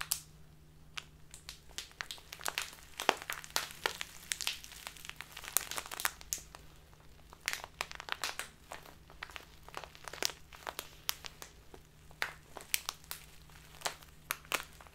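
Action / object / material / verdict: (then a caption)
scrape / clear plastic bag of loose dried tea / plastic / none. A crinkly clear plastic Biotta tea bag full of loose dried tea is held upright and squeezed and crinkled with both hands, using fingertips and long nails. Bright, sharp crackles and crinkles come in dense, irregular bursts over a quiet, steady low hum.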